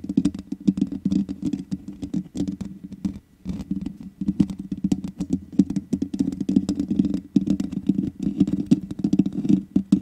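Long nails tap rapidly with both hands on the hollow metal mesh grille of a black microphone. The result is a dense, irregular patter of short, dry clicks over a warm, resonant low thump around 200 Hz, with brief pauses near 3 and 7 seconds.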